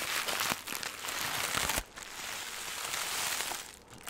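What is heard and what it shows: Green crinkly plastic film, compressed into a smaller ball, is crushed and crumpled with the fingers. It gives a dense, bright crackling texture with a brief lull near the middle before the crinkling resumes.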